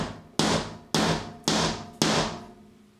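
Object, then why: Steel screw in a metal hollow wall anchor in plasterboard. A small steel screw set in a chrome metal hollow wall anchor, fixed in a plasterboard wall, is gently tapped on the head with a hammer four times. Each tap gives a sharp, bright metallic knock with a short ringing tone around 215 Hz that fades before the next.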